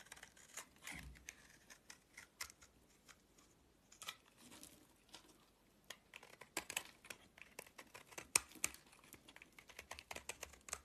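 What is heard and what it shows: A utility-knife blade shaves and scrapes the edges of a solid white soap bar held in the hand. The clip is a quiet, uneven run of short, crisp, bright scraping ticks that die away almost instantly. Low faint swishes sit between the louder cuts.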